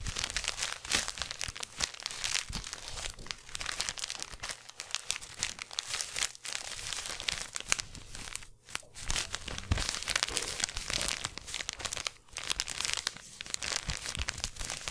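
A small black crinkly plastic gift bag is held in both hands close to the microphone while the fingertips squeeze and rub it. The result is continuous, bright crackling and crinkling with many fast, sharp rustles. It carries on for the whole clip, with brief quieter dips.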